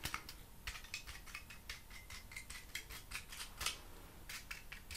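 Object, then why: Honeycomb cardboard panel. Fingertips and nails tap and scratch the face and open honeycomb edge of a hand-sized, rigid, hollow-celled honeycomb cardboard panel with a brown patterned printed paper face, held in one hand. The result is a quick run of dry, crisp clicks and scratchy brushes with bright, papery highs and very short decay over a faint background hiss.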